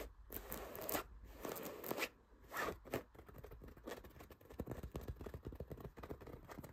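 Fingertips and nails scratch across a soft cream fabric throw pillow with stitched dots and small buttons. A few long, rasping strokes give way to quicker, crackly scratching with light clicks.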